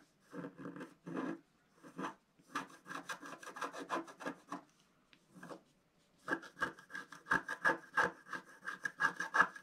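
A wooden stylus scratches a flat scratch art paper sheet with a black coating, working near the pink flower and figure. Short, dry, raspy strokes come in quick bursts separated by brief pauses. The scratching is quiet and grows brighter and sharper toward the end.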